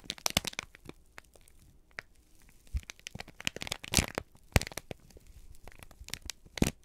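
A folded, crinkled sheet of brown kraft paper is held in both hands and squeezed and crumpled with the fingertips. Many sharp, dry crackles and crunches burst out in quick clusters, with a few louder snaps, each dying away almost at once. The crinkling is bright and papery, with quiet pauses between bursts.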